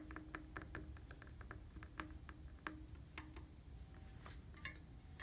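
Fingertips and nails tap on the red-painted hollow tubes of a steel bicycle frame. The result is a quiet, irregular series of short metallic taps, each with a brief tonal ring near 310 Hz and some bright clicks, over a steady low rumble.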